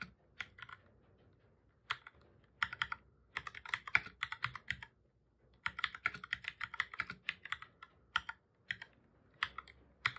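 Fingertips of both hands type on a black full-size plastic computer keyboard, pressing keys over and over. Quick, bright clicky clacks come in irregular bursts with short pauses between them, each key press dying away almost instantly.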